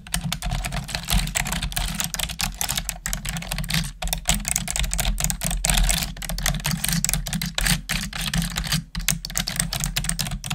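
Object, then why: Plastic computer keyboard. Long nails and fingertips type steadily on a black plastic desktop keyboard, producing a rapid, uneven stream of bright plastic clicks and clacks with brief pauses. A steady low hum sits underneath the typing throughout.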